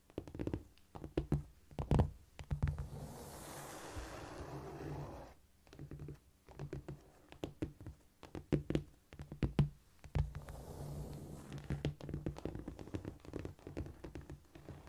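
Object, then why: Cork floor tapped and scratched with fingernails. Long nails tap and scurry across a flat, solid cork floor close by, making a dense run of dull low knocks. Between the taps, soft scratchy brushing swells up around two to five seconds and again near eleven seconds.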